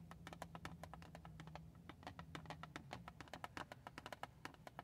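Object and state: Cardboard tissue box tapped with nails.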